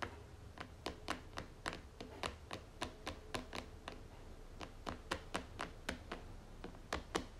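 Long fingernails tap and scratch the flat top of a red plastic lid on a white cream tub, making about 25 short, dry, bright clicks at an uneven pace. Faint scratching and a low rumble sit beneath the taps, and each click dies away almost at once.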